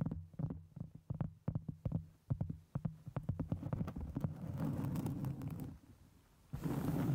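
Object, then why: Round cork board. Long nails scratch a solid round cork board held over a microphone, making a quick, irregular run of dull, low, muffled scrapes and thumps. A flat palm then rubs across the surface, producing a steady, breathy, wind-like rushing noise that stops briefly and then returns.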